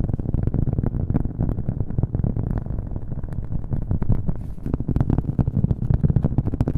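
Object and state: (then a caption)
Cork coaster. A round, flat, thin cork coaster is held up and tapped quickly with fingernails, making a rapid, continuous stream of soft, dull taps. An added echo effect blurs the taps together, and the sound stays low and boomy with almost no high end.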